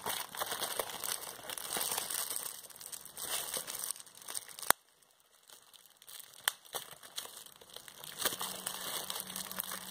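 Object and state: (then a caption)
Plastic bubble wrap being crinkled and popped. A clear plastic bubble wrap sheet is held in both hands while its air bubbles are pinched and popped with fingertips and nails. Continuous bright crinkling of the plastic is broken by sharp pops, with a near-silent pause after a loud pop just before the five-second mark, then more crinkling and popping.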